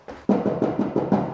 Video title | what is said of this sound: 우리집의 퀄리티를 높이고 싶다면? 이렇게 해보세요 | 나무로 안 만들고 금속으로 만든 거예요